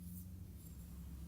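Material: Nothing is struck.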